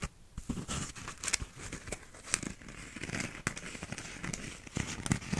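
A small, empty paper cup with a cardboard inner wall and a blue, bumpy plastic outer sleeve is turned in the hands and scratched with fingernails. The result is a steady, dry crinkling and scratching texture with a low rustle underneath and frequent sharp, bright clicks that stop almost instantly.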